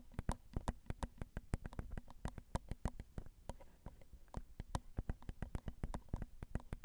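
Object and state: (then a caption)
Fingernails tapping a microphone's metal grille. Long acrylic nails tap rapidly and gently on the metal mesh grilles of a Zoom recorder's XY microphone, the small hollow capsules sitting right under the fingertips. About forty quick, dry taps land in an irregular rhythm, each a sharp bright click over a deep, muffled thump that dies away almost instantly.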